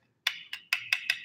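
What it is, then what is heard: Plain plastic eyeglass frame. An inexpensive $30–40 plastic eyeglass frame from another brand is tapped six times, giving short, light, hollow clicks with a bright ring near 2.6 kHz and almost no low end. The thin, quickly fading tone marks it as cheap, straight plastic.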